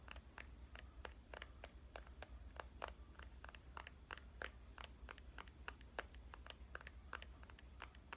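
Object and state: Compact digital camera tapped with fingernails.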